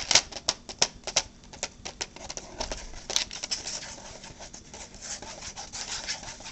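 A clear, thin plastic clamshell box full of blueberries with a paper label is held in the hands, tapped and scratched with long painted nails, and turned over. Sharp, bright clicks come in quick, uneven bursts at first, then give way to a steadier, hissy scratching and rustling. The sound is high-pitched and crisp, with little low end and almost no ring after each tap.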